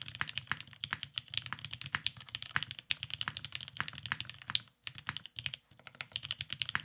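A beige Cerakoted Salamander tenkeyless mechanical keyboard with lubed Vintage Black switches and plastic keycaps sits on a desk mat while both hands type continuously with their fingertips. The result is a rapid, steady stream of short, bright, sharp clacks with almost no ring, pausing briefly just before the five-second mark before the typing resumes.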